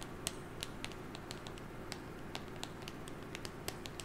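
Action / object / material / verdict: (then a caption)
tap / small cardboard box / cardboard / none. A small, hollow, rectangular printed cardboard box with a white top and colored stripes is held in one hand near a fluffy microphone and tapped and scratched with long painted nails. Quick, irregular, dry clicking taps with bright, crisp edges die away almost instantly over a steady low background hiss.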